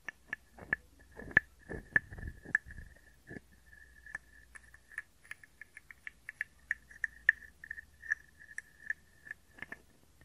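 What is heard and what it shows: A small, hollow, carved wooden frog guiro is scraped and tapped with a wooden stick. About 22 short, dry, irregular knocks and brief scrapes ring with a bright hollow tone around 1.7 kHz. The rasping bursts come mostly in the first few seconds, then quieter taps.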